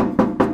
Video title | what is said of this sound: Ep.20 Bronco 2 wiring harness removal | couldn't have more than a gallon that sounds empty